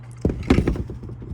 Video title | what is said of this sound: GRANDPA'S WEEDER | There's a little bit of looseness in it. So, you could hear it when I shake it.